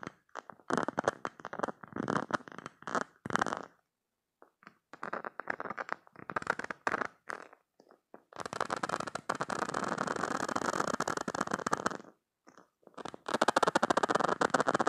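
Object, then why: Soft silicone spiky squeeze toy. Fingers with painted nails grip, scratch and squeeze the spikes of a soft, hand-sized, green silicone cube-shaped spiky squishy toy. Quick bursts of dry, rubbery scratching and crackling come in short clusters with brief silences, centered in the mids around 1.3 kHz. The sound then turns into a long, continuous rasping scrape from about 8.5 to 12 seconds and resumes for the final seconds.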